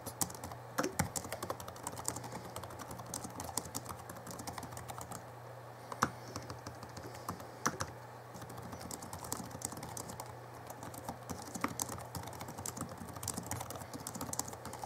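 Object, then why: Plastic laptop keyboard keys. Fingertips of both hands type steadily on the backlit plastic keys of a small 2011 Alienware M11x R2 laptop keyboard. The result is a rapid, continuous stream of short, dry clicks with a few louder key strikes, over a steady low hum.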